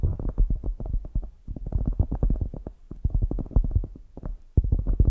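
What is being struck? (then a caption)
Polyurethane foam squishy toy. A palm-sized solid polyurethane foam squishy toy shaped like a donut with an orange glazed top sits on the mic and is tapped and scratched with long grey acrylic nails. Many rapid, dull, low thuds come in quick bursts with brief pauses, with almost no high content.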